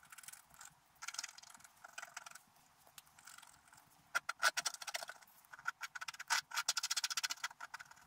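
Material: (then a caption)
Wax coating. A wooden scratch stylus held in the fingers scratches away the black wax coating of a letter-sized scratch-art card with a metallic and colored paper base, lying flat on a table while the other hand holds it still. Quiet, dry, bright scratching comes in irregular short strokes and bursts, growing louder and denser in the second half.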